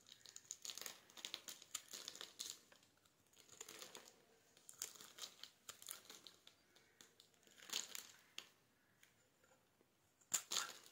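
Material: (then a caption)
Soap. A palm-sized, solid orange bar of soap, scored in a grid and held in the hand, is scraped with a metal utility knife blade, breaking off small cubes. Quiet, bright, crisp crackling and crunching scrapes come in uneven bursts with almost no low end. A few sharper, louder snaps stand out near the end.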